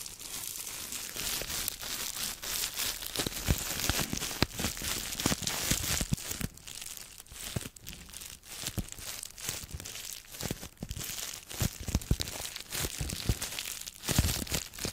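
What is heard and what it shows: A small piece of clear plastic bubble wrap is held in the hands close to the microphone while long almond-shaped nails and fingertips squeeze, crinkle and rub it. Dense, continuous crinkling and crackling fill the clip with bright, hissy texture, broken by sharp snaps and soft low thumps from the handling.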